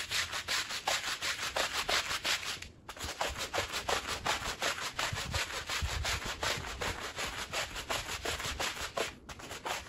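A long-handled green plastic push broom scrubs a small, dirty woven rug soaked with soapy water. Rapid, fairly steady back-and-forth strokes make a bright, wet, scratchy bristle hiss, with brief pauses near 2.8 and 9.2 seconds.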